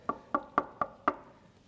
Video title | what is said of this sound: WALNUT Beats MDF for Speaker Cabinets? Chario Constellation Lynx Speakers | there is so much less ring